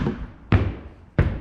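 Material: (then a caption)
Plywood. Two knocks on a plywood subfloor laid over 2x4 joists with insulation underneath give two dull, low thuds with little high-frequency content and a short decay. The floor sounds solid.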